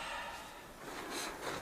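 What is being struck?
Nothing is struck.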